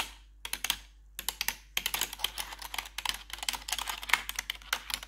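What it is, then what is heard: Plastic computer keyboard tapped with metal nails. A gloved hand with metal claw nails taps rapidly on the keycaps of a full-size black plastic RGB backlit computer keyboard. The sharp, bright clicks come in quick, uneven bursts with brief pauses near the start, and each one dies away almost at once.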